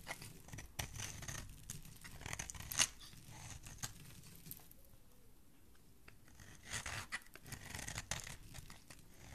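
A utility knife blade shaves and scrapes a solid, partly carved green bar of soap, curling off long soap shavings. The sound is a quiet, bright, crisp rasping and crackling made of short scraping strokes, with a softer lull in the middle before the strokes pick up again.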